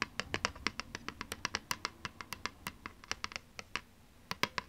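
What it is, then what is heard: Plastic game disc. Long nails scratch and tap the surface of a thin plastic PlayStation 2 game disc held in one hand. About 29 sharp, dry clicks come in a quick, uneven run, each bright and crisp with a tonal edge near 1 kHz and almost no ring. There is a short pause before a final few taps.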